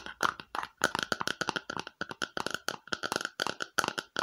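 Long nails tap and scratch around the rim and sides of a small, empty red plastic bowl held up close, making a quick run of about two dozen light, crisp clicks. Each tap gives a brief hollow plastic tone near 1.4 kHz with a bright edge, dying away almost at once, while softer scratching fills the short gaps between hits.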